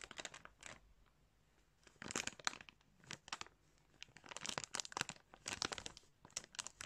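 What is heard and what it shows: A hand squeezes and crumples a crinkly clear plastic bag holding yarn. Bursts of bright, high crinkling and crackling are separated by short quiet pauses. The sound is crisp and close, with very little low end.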